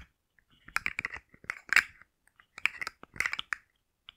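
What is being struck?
Hard plastic segmented fidget toy.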